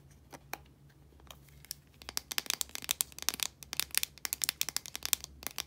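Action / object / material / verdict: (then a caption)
tap / plastic deodorant stick container / plastic / none. Long nails scratch and tap the sides of a blue, translucent plastic deodorant stick container, a hollow casing with product inside. A few soft, scattered clicks give way after about two seconds to a quick, steady run of sharp, bright, dry taps with almost no ring, over a faint low hum.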